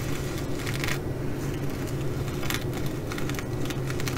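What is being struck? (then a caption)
Fabric bag covered in plastic sequins. Long glitter nails scratch across a flat fabric bag covered in reversible blue plastic sequins, flipping them. This makes bursts of bright, crackly clicking and rustling over a steady low hum.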